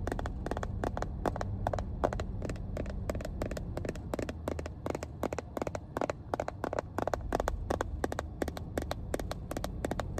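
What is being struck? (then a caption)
Hard plastic first aid kit case. Long painted nails tap the top edge and face of a small, hollow, cream hard-plastic Johnson & Johnson first aid kit case held upright. A steady stream of quick, dry, hollow clicks with a mid-range knock around 600 Hz plays over a constant low rumble. Each tap dies away almost instantly.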